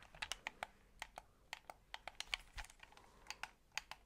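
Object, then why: Plastic game controller. A white, hollow plastic game controller is held close to the mic while fingertips tap its shell and click its buttons and thumbsticks. About 18 short, sharp, bright clicks and taps come at an uneven pace with almost no ring or low end. The result is a quiet, crisp pattering that sounds much like typing on a keyboard.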